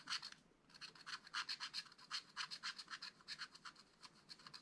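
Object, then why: Black-coated scratch-art card scratched with a wooden stylus. A wooden stylus scratches repeated short strokes across the flat black-coated card of a spiral-bound scratch-art pad. Quick, dry, bright scratches come in a steady uneven rhythm, about four per second, after a brief pause near the start. Each stroke is crisp and high-pitched with no low end and stops almost instantly.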